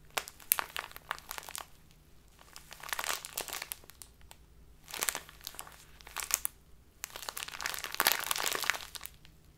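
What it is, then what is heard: Plastic bag of loose tea being crinkled. A small plastic bag full of loose tea is cupped in both hands and squeezed and crinkled with the fingers. Bright, crackly crinkling comes in bursts separated by near-silent pauses, with the longest and densest crinkling at the start and near the end.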